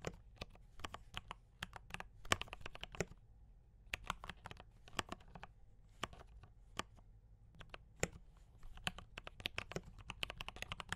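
Fingertips type on a mechanical keyboard with D84 brown switches and cream and red plastic keycaps. Quick bursts of sharp, short, bright clacks with a low thock under each press come in runs separated by brief pauses, each keystroke dying away almost at once.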